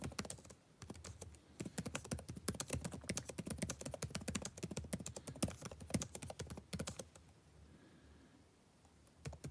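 Fingertips type rapidly on a backlit laptop keyboard with plastic keys, producing a fast, dense run of short, dry taps with a muffled low body and crisp bright clicks. The typing runs steadily with a brief pause near the start, then stops at about seven seconds, leaving near silence before a couple of final taps at the end.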